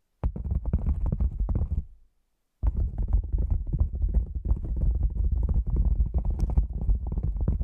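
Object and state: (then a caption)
Padded nylon lens pouch. A black padded nylon lens pouch, cylindrical and hollow and standing upright, is tapped with long nails and fingertips around its top rim. Dense, rapid soft taps give a deep, muffled, hollow thumping, with a brief silence near the two-second mark before the tapping resumes.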